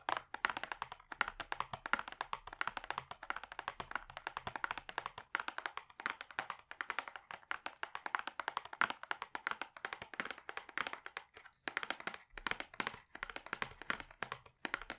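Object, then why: Closed cardboard gift box. A rigid, medium-sized, hollow and closed pink-orange cardboard cosmetics gift box is held in both hands and tapped quickly on its front face with fingertips and short nails. The result is a dense, steady run of crisp, hollow taps centered around 1.4 kHz, each dying away almost instantly, with only a few brief pauses between bursts.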